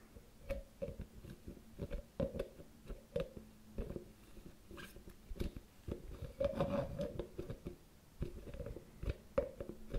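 A medium round white plastic cosmetic cream jar with a teal plastic screw lid is held in one hand while the fingertips and nails of the other hand scratch and tap the top of the lid. Quiet, closely spaced clicks and dry scratching rasps repeat throughout, with a short hollow plastic ring around 560 Hz on many of the taps.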